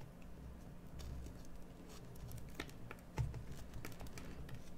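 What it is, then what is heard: Bar soap being carved. A metal carving tool shaves and scrapes a solid green bar of soap during carving. Short, dry scratching ticks and soft scrapes sound over a low, steady hum, with one slightly louder cut near the three-second mark.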